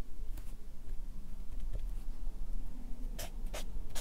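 A Sharpie marker writes words on a stack of white paper on a clipboard, its felt tip rubbing across the sheets. Soft scratchy strokes sit over a steady low rumble, and short bright squeaks of the tip on the paper stand out toward the end.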